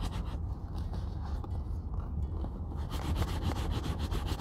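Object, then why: Leather cowboy boot rubbed with a terry cloth rag. The hollow, empty shaft of a brown leather Red Wing Pecos 9801 cowboy boot, lying on a wooden table, is rubbed and buffed by hand with a grey terry cloth rag. A steady, low, muffled rubbing continues throughout, and in the last part the strokes turn brighter and more swishy.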